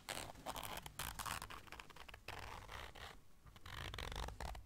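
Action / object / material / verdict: scrape / small fabric zipper case / fabric / none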